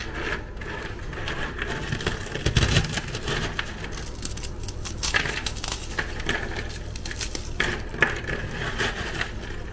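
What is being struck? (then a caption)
Chocolate-chip cookies crushed by hand. Fingers and thumbs break and crush a pile of small, dry, crunchy Tiger Krunch Chocochips chocolate-chip cookies into crumbs on a white surface. A steady, dense crackling crunch with bright, sharp snaps runs throughout, with a heavier low-thumping burst of crushing near the middle.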